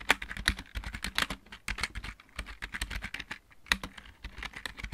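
Fingertips of both hands type on a backlit, full-size plastic computer keyboard with mechanical keys. A quick, uneven run of sharp, bright clicks follows, each keystroke dying almost instantly, with a few louder taps standing out and a soft low thump under some presses.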